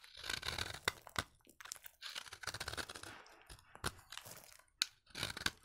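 A utility knife blade scrapes crunchy flakes off the edge of a solid orange bar of dry vintage soap held in the hand. Bright, dry crunching and scraping bursts come with sharp, quick snaps in between and short quiet gaps.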